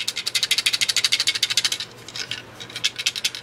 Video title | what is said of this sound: Ruger 10/22 & ATI AR22 Update #2 | They sound like they're broke right out of the packaging. They're not.